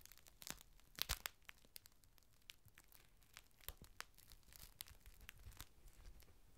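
A large, thin, clear plastic rain cover lying flat on a table is unfolded, crinkled and smoothed by fingertips. The result is a steady stream of sharp, dry crackles and crinkles with bright, hissy highs and no ring. The loudest bursts come around the first second and near 3.7 seconds.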